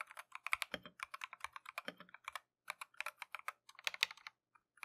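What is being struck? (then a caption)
Mechanical keyboard with plastic keycaps. A compact Keychron V1 mechanical keyboard with Tangerine switches and green and white Matcha plastic keycaps is typed on continuously with gloved fingertips. Around thirty quick, bright, clicky keystrokes with very short decay come in rapid bursts, separated by brief pauses. The overall sound is fairly quiet.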